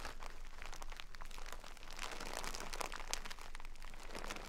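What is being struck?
Burlap bag of rice.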